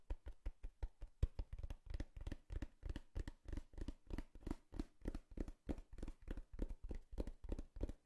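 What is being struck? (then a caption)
Cardboard box. Knocking and tapping on a cardboard box, with no talking. Dull, low, hollow thumps with almost no ring come in quick, uneven bursts of soft and firmer hits throughout.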